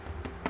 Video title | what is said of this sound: Cinnamon Honey Bread | if you tap the bottom and it sounds hollow